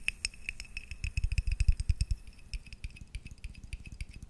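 A small, hollow, faceted glass tumbler holding a little yellowish liquid is held in one hand and tapped and scratched with the fingertips and nails of the other. The result is a quick, uneven run of soft, dull low thumps mixed with bright, clicky glassy ticks and a faint brief ring, with lighter scratchy taps toward the end.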